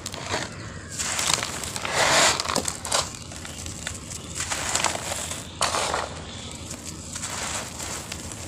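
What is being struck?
Clumps of cement sand.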